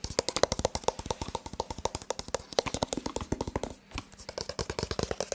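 A rigid white cardboard smartphone box with a printed front is tapped rapidly with the fingertips and nails, giving about 43 short, dry, hollow taps with a mid-range knock around 550 Hz and bright clicky edges. The taps run in a steady stream, pause briefly near the four-second mark, then resume.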